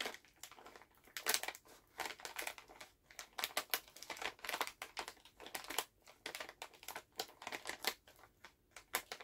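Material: Plastic.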